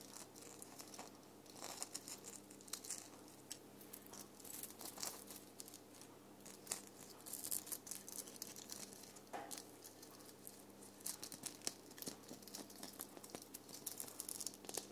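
Fingertips and nails scratch and rub a red sequin-covered foam ball ornament with glitter, making a steady stream of soft, crisp, crinkly scratching and rustling. The sound is quiet and bright, full of many small ticks and brushes with occasional sharper flicks.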